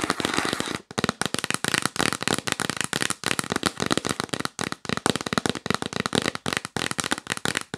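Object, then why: Cardboard box lid. Long nails tap fast on the lid of a yellow printed cardboard box held upright in the lap. They make a rapid stream of dry, crisp clicks and pops that stop short with no ring. The first second is a dense, blurred flurry, then the taps come in quick, distinct bursts with brief gaps between them.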